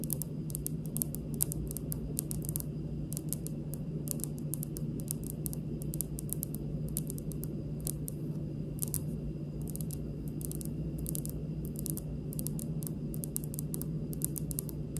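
A large, solid speckled granite kitchen countertop is fast-tapped with the long pink nails of both hands. Quick, light, bright clicks patter steadily over a constant low hum, each tap dying away almost instantly.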